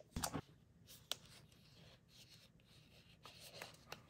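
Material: Cardboard.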